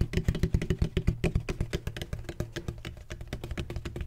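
Fingertips tap quickly on a large, hollow, black donut-shaped bottle of textured plastic with a red cap. The taps give deep, hollow, low thuds with a faint bright clicky edge, each dying away almost at once. They come in a fast, uneven patter that softens slightly toward the end.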